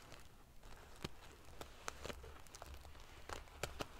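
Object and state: Metal-sequin pillow being ruffled.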